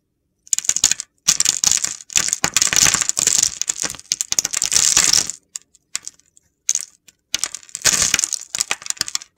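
A utility knife blade slices curls from the scored surface of an oval, solid purple soap bar with a red coating. Each cut makes a dense, bright, crunchy crackling with almost no low end, and the strokes come in short bursts separated by brief silences.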